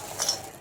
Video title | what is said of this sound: खानदेशी पद्धतीचे झणझणीत वडे 😍 - पारंपरिक सांडगे रेसिपी 🌶️ - Marathi Recipe Vlog | छान कडक झाले ते बघा. आवाज येत असेल तुम्हाला, आवाज छान खणखणीत आवाज येतोय.